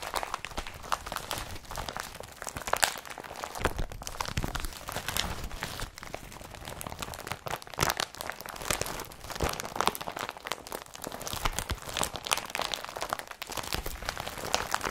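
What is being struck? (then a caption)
Woven polypropylene carrier bag. An empty blue IKEA BRATTBY carrier bag of woven polypropylene, lying on a table, is crumpled and pressed with fingers and palms. A steady stream of dense, crisp crinkling and crunching runs through the whole clip, with brief sharper rustles and no ring after each one. Low thuds underlie a bright, papery texture.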